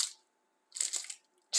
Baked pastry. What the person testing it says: मैं चाहता हूं कि आप इसकी आवाज सुनें, यह कुरकुरा है